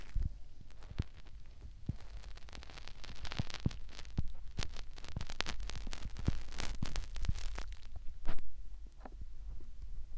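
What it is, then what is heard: Silicone ear on binaural microphone. Fingertips rub and press into a white silicone ear on a binaural microphone, producing close, muffled rubbing and dense crackling taps over a deep low rumble. The scratchy bursts come thick and fast, and the loudest press lands near the end.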